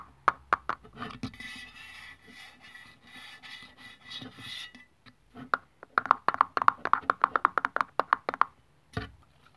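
A long press-on nail taps and scratches a hollow Nivea aluminium aerosol deodorant can lying on its side on a wooden table, dragging along the printed label. A few sharp clicks give way to a soft, bright scraping hiss, then a fast run of crisp, tinny taps ringing near 1.1 kHz, ending with one duller knock.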